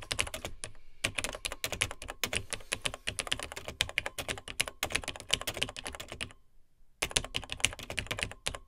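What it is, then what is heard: Vintage plastic laptop keyboard being typed on. Fingertips of both hands type on the dark plastic keys of a beige plastic vintage Tandy TRS-80 Model 100 portable computer. Rapid, bright, clicky keystrokes come in quick bursts, with short breaks and a longer pause before the typing resumes.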